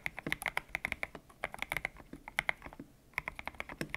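Fingertips type steadily on a white-cased mechanical keyboard with grey and pink PBT plastic keycaps, its hollow case resting on a desk mat. Each keystroke gives a bright, crisp clack that dies away almost instantly, with a brief pause shortly before the typing resumes.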